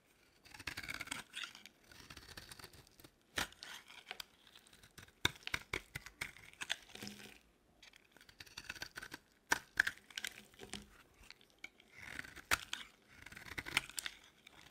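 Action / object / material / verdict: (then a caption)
scrape / bar of soap scraped with a metal blade / soap / none. A metal blade scrapes and shaves thin curls from the edge of a solid pink bar of dry soap held in the hand. Crisp, bright, dry scraping comes in bursts, with sharp clicks and brief quiet pauses between strokes.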